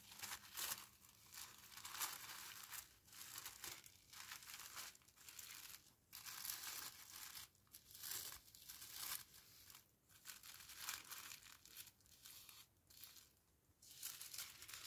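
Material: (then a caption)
Paper. Hands with painted nails unfold, refold and crease thin pink tissue paper around a small flat parcel. The result is a steady run of bright, papery crinkling and rustling bursts, dense in the high range with almost no low end.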